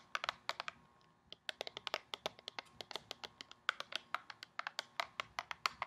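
Long painted nails rapidly tap a tall, hollow, gold foil-coated cardboard skincare box held in both hands. The taps are crisp, dry and bright clicks, like fast typing, with almost no ring. After a brief pause near the first second, they continue in a quick, uneven run.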